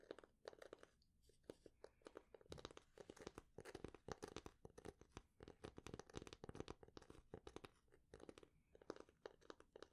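Long nails rapidly tap and scratch the flat blade of a light, solid wooden spatula held upright in both hands. The result is a quiet, dense run of dry, clicky taps and crunchy scratches centered in the mids, each dying away instantly with no ring.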